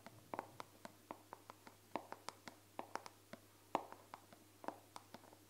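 A hand-sized, dark brown plastic body cream bottle with a white-printed label, hollow and at least partly full, is held in one hand near the microphone and tapped and scratched with the fingertips and painted nails of the other hand. The result is a quiet, irregular run of short, dry, clicky taps with a hollow plastic tone around 900 Hz and almost no ring, with light scratching between the taps over a faint steady low hum.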